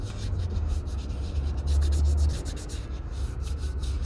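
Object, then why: Leather cowboy boot toe. The toe of a leather Red Wing Pecos 9801 cowboy boot is sanded with a small folded piece of sandpaper held under the fingertips in brisk rubbing strokes. A steady, low, dull rumble dominates, with faint bright scratchy swishes repeating at a quick, uneven pace throughout.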